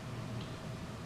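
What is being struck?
Nothing is struck.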